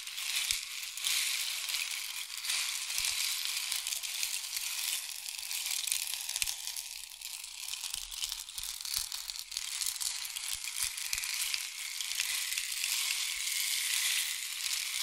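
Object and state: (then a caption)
Rain stick. A long, hollow, painted wooden or bamboo rain stick is tilted back and forth, sending its pellets pouring through the tube. The result is a steady, bright, rushing patter like falling rain, with dense crackling grains, almost no low end, and slight swells and dips as the stick turns.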